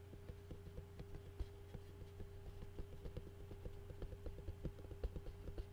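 Fast fingertip tapping and fingernail scratching on a clear plastic takeout food container lid with food residue on it. The quick, dry taps and scrapes land over a steady low hum, each one short and clicky with almost no ring.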